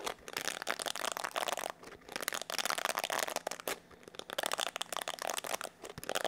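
A palm-sized black plastic paddle hair brush with a hollow oval body is held in both hands while fingertips and nails rub and scratch its bristle side and back. The result is dense, crinkly scratching in quick bursts with short quieter gaps, bright and papery with a midrange body and no low rumble.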